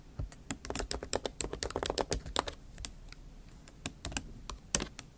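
Long acrylic nail tips type on the plastic keys of a MacBook Pro keyboard set in an aluminium body. The result is a quick run of sharp, bright clicks, dense in the first two and a half seconds, then a sparser patter with a few louder taps. Each click is short and dry.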